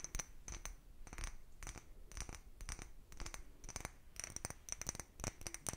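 A small, empty, clear cut-glass bottle with a narrow neck is held in both hands and tapped and scratched with fingertips and nails. Quick, soft clicks and short scraping strokes repeat in uneven bursts throughout, each with a brief, bright glassy ping that fades almost instantly.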